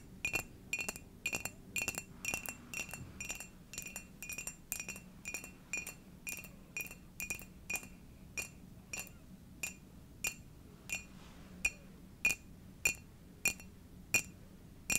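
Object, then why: Ceramic mug. Long dark nails tap a hollow, glossy dark ceramic owl-shaped mug that appears empty, in a steady series. Each tap gives a short, bright clink with a ringing tone near 2.5 kHz that dies away quickly. The taps come at about 100 per minute over a faint low background hum.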